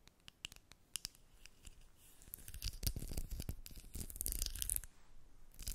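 A small clear Maybelline Lifter lip gloss tube with a square cap, filled with gloss and held in the hands, is scratched and tapped with long red nails. Sparse sharp taps at first build into a dense stretch of rapid, dry scratching and clicking, with each sound dying away almost instantly. The overall level stays quiet.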